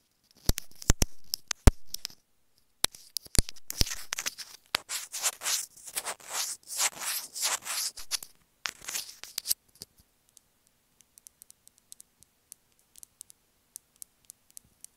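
Long nails tap, scratch and click along a small white hollow plastic inline remote on an earphone cable, held between the fingers. A few sharp, bright clicks give way to a dense stretch of quick, hissy scratching and rubbing. It ends with sparse, faint ticks over near silence.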